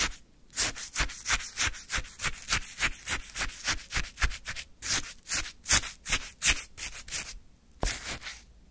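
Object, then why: Frozen sherbet in a paper cup, scraped with a wooden stick. A wooden stick scoops and scrapes icy orange sherbet in a small paper cup, giving a rapid series of about twenty crunchy, gritty scrapes. Each scrape is a short bright burst with a quick, dry finish, and there are brief pauses near the start and end.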